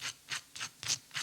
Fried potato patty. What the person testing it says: just listen to that how crispy they are